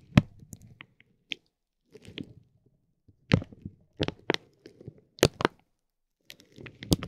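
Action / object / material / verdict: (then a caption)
scrape / soft vinyl plastic bag around a tape roll / vinyl plastic / none. A metal ball-tipped stick presses and rubs a clear soft vinyl plastic bag wrapped around a roll of glitter tape, working the film inside the roll's hollow center. Slow, gentle bursts of soft crinkling and crackling come with quiet pauses between them. Some bursts carry sharp, bright snaps over a low, muffled body.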